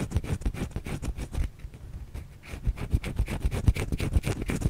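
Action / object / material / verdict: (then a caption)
scrape / bar of soap / soap / none. A white solid bar of soap held in the hand is scratched with long fingernails. Quick, uneven scratching strokes give dull, low-heavy scrapes with a slight bright grit. There is a brief quieter lull midway before the scratching picks back up.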